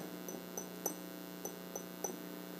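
A Santa Clara Pueblo clay pot, fired red with pine until the pine turned to ash, is tapped six times, giving short, bright clicks with a high ringing tone. A steady low hum runs underneath, and the crisp taps show the pot is hard after firing.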